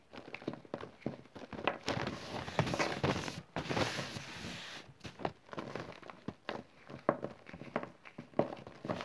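Packed clumps of green chalk and cornstarch powder are crushed and crumbled between bare fingers over a loose pile of powder. Soft, dry crunches and gritty crackles come in quick bursts, with longer grainy hissing stretches as the clumps break apart and the powder sifts down. The sounds are close and dry, with almost no ring after each crunch.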